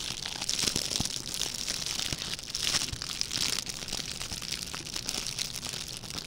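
A small red metallic plastic ribbon gift bow is held in both hands while its ribbon loops are crinkled and crushed with the fingertips. A dense, steady stream of bright, crackling crinkles and short, dry snaps fills the clip, with almost no low end and no ringing after each crackle.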